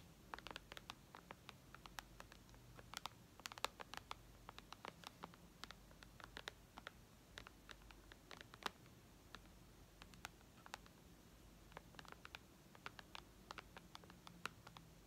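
Long red nails tap and scratch the glass touchscreen of a white iPad lying flat. Dozens of quiet, sharp, dry clicks with bright tips come in quick irregular bursts, mixed with light scratching, over a faint low background hum.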